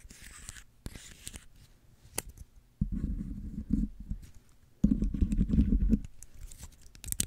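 A small, dry brown pine cone is held in both hands close to the microphone while fingernails scratch and rub its woody scales. Faint, crisp scratches alternate with two longer, louder stretches of low, rustling rubbing before it quiets again into light scratching.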